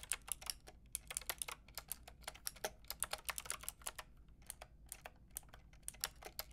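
Fingertips and long red nails tap rapidly on a Lofree mechanical keyboard with a white plastic case and round pink and grey plastic keycaps. The result is a quick, uneven run of bright, clicky keystrokes that stop dead, over a faint low hum.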